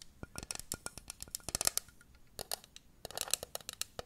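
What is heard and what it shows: A small hollow pink plastic kettle-shaped jug with a handle is held close to the microphone and tapped and scratched with long nails. The result is quick, irregular, dry clicks that are bright and high with almost no ring, mixed with brief scratchy bursts. There is a short lull near the middle before the tapping picks up again.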